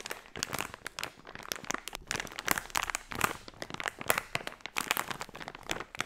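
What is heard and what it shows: A hand-sized, filled blue unicorn blind-bag pouch of crinkly plastic foil is squeezed and crinkled by fingertips and long nails. The result is a dense, continuous run of sharp crackles and crunches with bright hiss and almost no low end.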